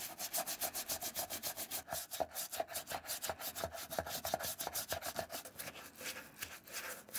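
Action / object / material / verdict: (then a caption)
scrape / leather shoe brushed with a bristle brush / leather / none. A wooden-handled bristle brush is scrubbed back and forth along the perforated side and inside of a dark brown leather shoe resting on a blue towel. About thirty quick, dry brushing strokes follow one another in an uneven rhythm, each a bright, high scratchy hiss over a faint midrange tone near 660 Hz.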